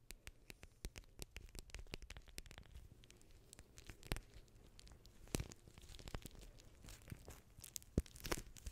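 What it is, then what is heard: Plastic water-bead gel pack. A small blue beaded gel pack in clear plastic is crinkled, squeezed and scratched with long nails close to the microphone. Quiet, dense crinkling and scratching are broken by many sharp, bright clicks and crackles over a soft low rumble, with a few louder snaps near the middle and end.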